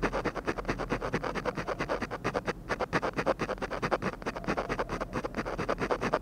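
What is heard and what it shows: A ballpoint pen tip scratches rapid hatching strokes near the lips of a drawing on a thin, flat sheet of textured paper. The sound is a dense run of short, dry, papery scratches in an uneven, quick rhythm, mostly midrange with little low rumble.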